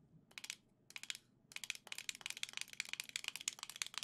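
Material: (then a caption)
Plastic. Long nails tap on gold Joy-Cons attached to a black plastic grip held in both hands. Short bursts of crisp, high-pitched plastic clicks come first, then after a brief pause they turn into a steady run of rapid, dry tapping with almost no ring.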